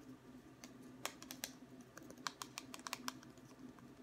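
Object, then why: Wooden ruler. A long, thin, solid wooden ruler, held at various angles, is tapped with the fingertips along its length. The taps come as an irregular run of short, dry, bright clicks like typing on a keyboard, each dying away almost instantly over a faint, steady low hum.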